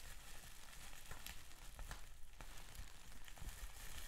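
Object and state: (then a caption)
Plastic bubble wrap being crinkled and popped. Fingertips press, crinkle and pop clear plastic bubble wrap with large air bubbles. A quiet, steady crackling sizzle runs throughout, broken by a few sharp, short snaps where bubbles burst, over a low rumble.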